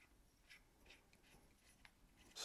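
Fingertips rub and twist the ribbed zoom bezel and hollow tube body of a hand-sized black anodized aluminum Odepro KL52 Plus zoomable hunting flashlight, held in both hands over a foam case. Quiet, bright scraping runs throughout, broken by five short, dry clicks, with the last and loudest at the very end.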